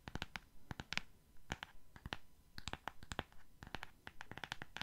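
A solid purple hardcover book with a glossy cardboard cover is held in the hands while fingernails scratch and tap across the cover. The result is a quiet, irregular run of short, dry clicks and scratchy bursts with a bright edge around 2.3 kHz that stop dead with no ring.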